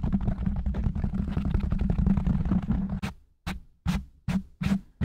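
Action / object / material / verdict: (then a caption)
scrape / foam microphone windscreen / foam / none. Fingertips and short nails of both hands rapidly scratch and tap on a large, soft, porous black foam windscreen covering a silver condenser microphone. For about three seconds a dense, muffled rumble of quick scratches and taps fills the low end, then it breaks into separate, evenly spaced thumping bursts with short silences between them.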